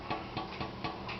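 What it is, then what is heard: Baked bread loaf, hollow (done). A fresh loaf of white bread, just taken out of the pan, is tapped four times on its browned bottom. Each tap gives a soft, hollow knock, like knocking on a door but gentler, which shows the bread is baked through.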